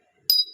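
A treated piece of stone sold as Hainan jade, vibrant-looking but fake, is tapped once, giving a single bright, high-pitched ping. The ring is short, dropping away within about a tenth of a second, which marks it as treated rather than real jade.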